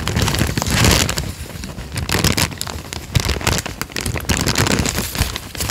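A thin peach paper sheet is held in both hands, flexed, crinkled and torn slightly at the bottom edge with the fingertips. It makes a dense, continuous crackling and crinkling with bright, sharp snaps over a soft low rustle. The loudness swells and dips throughout with no pauses.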